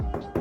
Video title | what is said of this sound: Survey Secrets Exposed - What To Look Out For On Your Next Property! | if you just tap onto it and listen out for hollow spots, that means that the bonding, which is the plaster boat that's stuck to the wall, has got that saturated, it's now come away